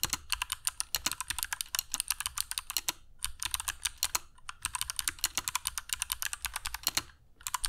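A compact black mechanical keyboard with dark PBT plastic keycaps and Kailh Box Jade switches, resting on a cork desk mat, is typed on continuously with the fingertips of both hands. Bright, sharp clicks patter in rapid bursts with short pauses around three seconds and near the end. Each click dies away almost instantly.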